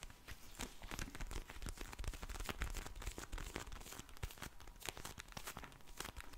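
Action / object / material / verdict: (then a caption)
scrape / vinyl eye mask filled with gel beads / vinyl, gel beads / none. A pink vinyl eye mask filled with gel beads is held in front of a microphone and tapped, scratched and squished with long blue nails and fingertips. Dense, crinkly rustling mixes with quick, bright clicking taps and soft squishing over a low, muffled rumble. The sound stays quiet and steady throughout.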